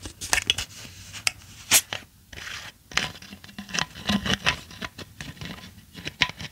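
A clear pink-tinted hollow plastic bottle with a white cap is held up close while long acrylic nails tap and scratch its cap and body. The result is a dense run of sharp, bright clicks and crackly scraping, each tap dying away almost instantly.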